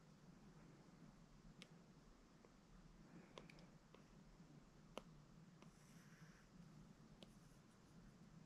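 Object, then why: Plastic stylus on glass tablet screen. A plastic Apple Pencil held in the fingers taps and draws lines and squiggles on the glass screen of a large, flat, solid iPad lying on carpet, including tapping through a brush menu. Soft, quiet stroking is broken by a few sharp, short clicks over a steady low hum.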